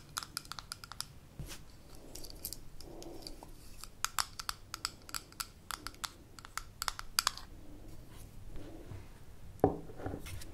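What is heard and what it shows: Long nails tap a small amber glass jar with a gold metal lid, first while it is held in the hands and then while it stands on a table. The result is a quick, irregular stream of short, dry, bright clicks over a faint low background, with soft rubbing between taps. A louder, fuller knock comes near the end.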